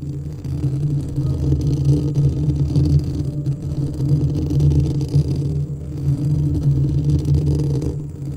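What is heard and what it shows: Fingertips and nails of both hands scratch and rub the hollow, perforated metal grille of a white studio microphone. The result is a steady, dense, low rumbling scrape concentrated in the deep bass, with almost no bright content and only slight swells in loudness.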